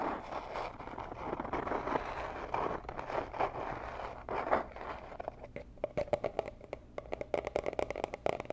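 Long nails scratch across a small, hollow, rigid teal cardboard gift box meant for jewelry, making a steady dry scraping for about five seconds. The nails then switch to tapping, producing a quick run of sharp, hollow clicks with a light papery tone around 660 Hz that die away almost instantly.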